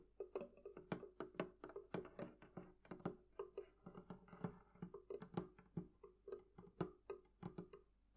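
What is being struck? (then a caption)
Wooden barrel-shaped chest. Fingertips and nails tap rapidly on the wooden sides and top of a hollow, closed, barrel-shaped wooden chest. Each tap is a short, dry knock with a hollow resonance around 180 Hz and a brief, quick-dying ring. The taps fall in an uneven, steady stream of varying strength with quiet gaps between them.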